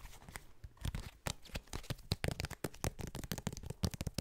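A small, flat trading card inside a rigid clear plastic toploader or case is tapped and scratched with fingertips and nails. The result is a rapid, uneven run of sharp clicks and scratchy crackles with dull low knocks underneath, each hit cutting off almost at once.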